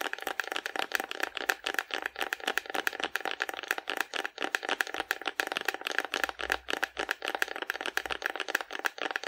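Long nails tap rapidly over the body of a hollow painted cardboard dinosaur held sideways in both hands. The result is a steady stream of short, dry, papery clicks with a bright, hollow midrange and almost no low end. Each tap dies away instantly.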